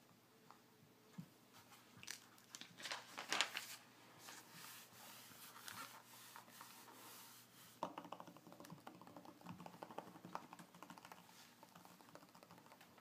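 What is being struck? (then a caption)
Glossy paper magazine page. A fingernail traces and scratches across the glossy paper pages of an open magazine, making soft, bright, papery scratches and crinkles. Then the hands rub and flatten the spread, giving denser, hissy rustling. A faint steady low hum sits underneath.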